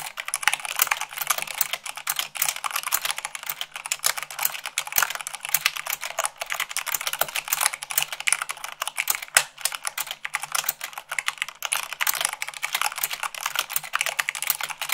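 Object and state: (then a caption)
Plastic mechanical keyboard. Fast two-handed typing with fingertips and long nails on the white plastic keycaps of a black plastic mechanical keyboard. A steady, dense stream of sharp, bright clicks and clacks continues throughout, with no low-end thump.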